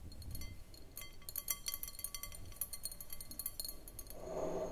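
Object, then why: Glass bowl. Long manicured nails tap quickly around the sides of an empty, hollow, clear round glass bowl on a short foot resting on a wooden table. The taps make a rapid string of bright, short glassy clinks with a faint high ring over a low background rumble. A soft, broader hiss rises near the end.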